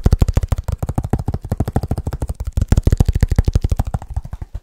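Fingertips of both hands tap fast on the outer surface of a small black leather bag held upright in front of the mic; the bag seems soft-sided and hollow. The result is a rapid, uneven stream of short, dull, deep thumps with almost no ring, fading slightly toward the end.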